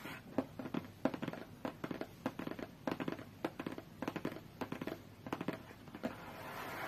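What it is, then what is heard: Cardboard tablet box. Long fingernails tap and scratch a closed, hollow, medium-sized white cardboard tablet box, producing a quick, irregular series of short, dry, hollow taps with a low boxy resonance. Soft scratching fills the gaps between the taps, and the clip ends in a brief, brighter scratching hiss.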